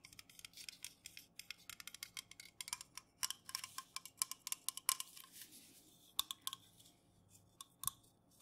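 Fingernails rapidly tap and scratch on the metal top rim and body of an unopened, full Jumex aluminum juice can held in the hands and tilted. The sound is a quick run of bright, crisp clicks and ticks, mostly high in pitch, that die away almost at once, with scratchy rustles between them.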